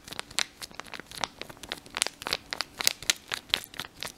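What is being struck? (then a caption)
Thin folded paper leaflet. A thin, folded, printed paper instruction leaflet from a mouthwash pack is held in both hands and crinkled and rubbed between the fingers. It makes a rapid series of sharp, dry crackles and crinkles, bright and high with almost no low end, each dying away instantly.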